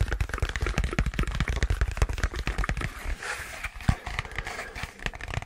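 A long, hollow rectangular white cardboard box, empty and closed, is held close and tapped quickly with fingertips and nails. The result is a rapid, uneven run of dull, low thumps with papery crackles and sharp clicks. Every tap dies away almost instantly.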